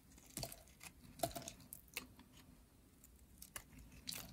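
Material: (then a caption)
Soap. A purple, solid, dry bar of soap, held in hands with long nails, is scraped and carved with a metal blade over a pile of flakes. Quiet, bright, dry crunches and crackling scrapes come in short, sharp bursts with soft hiss between them.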